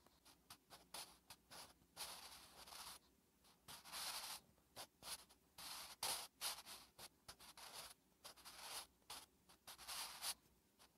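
A wooden graphite pencil held in the fingertips writes Korean letters on a thin lined paper notebook page resting on a flat surface. The graphite scratches across the paper in a quick series of short, bright strokes with brief pauses between them, with almost no low end.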